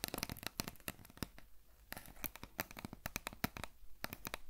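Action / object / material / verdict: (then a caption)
tap / cardboard potato chip tube / cardboard / none. Long nails tap and scratch on a tall, hollow cardboard potato chip canister with a printed label, held in the hands and likely holding chips. Quick, dry clicks and scratchy rustles come in rapid, uneven bursts with bright edges and no ring, separated by short quiet gaps.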